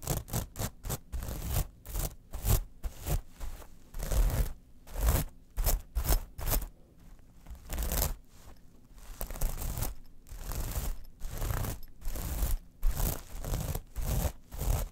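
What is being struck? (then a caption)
Metal mesh pouch. Long nails scratch across a small, textured metal mesh clutch pouch with rhinestones, lying flat. Many rapid, uneven bursts of dry, raspy scraping and crunching follow one another with brief pauses, over a dull low thump, in a close, quiet space.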